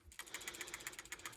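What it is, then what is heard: PCV valve rattles freely, working. A new PCV valve for a 2019 Pathfinder is shaken, and its internal part rattles in a quick, steady series of light, high-pitched clicks. The rattle shows that the part inside is free-floating and moving, so the valve is working.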